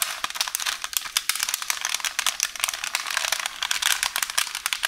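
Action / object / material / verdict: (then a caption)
scrape / roll of baking paper / paper / none. Long orange nails scratch and press a wrinkled roll of beige baking paper resting on a counter, crinkling it. The result is a dense, steady stream of bright, crisp crackles and rustles with quick sharp ticks and almost no low end.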